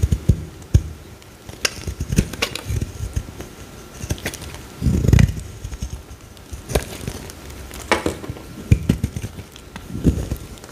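A solid pale green bar of soap held in the hand is scraped with a metal box-cutter blade, shaving off thin curls. Short, dry scraping strokes and crisp clicks repeat unevenly throughout, with a longer, denser rasp near the middle. The sound is mostly low and muffled, with brief bright edges that stop almost instantly.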